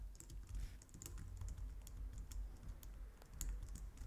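Both hands type steadily on a white plastic low-profile wireless keyboard, striking the keys with long painted nails and fingertips. The result is a quiet, continuous run of soft clicks and bright, high nail ticks over a low, muffled thump from the keys.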